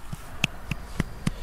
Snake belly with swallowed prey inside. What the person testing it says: I can kind of hear that hollow sound of her belly when I tap it gently.